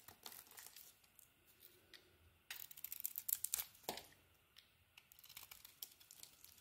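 A utility knife blade shaves a solid green bar of soap with a purple coating. The result is a string of dry, crisp scraping and crinkling strokes, mostly bright and high. The strokes start soft, grow into a louder flurry in the middle, then thin out to lighter scrapes.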